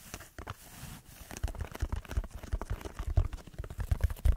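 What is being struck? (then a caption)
Textured foam sheet. Fingertips scratch a red textured foam block held above the microphone. The result is a dense run of soft, dull, low scratches and muffled thumps with very little brightness, growing louder and busier after the first second.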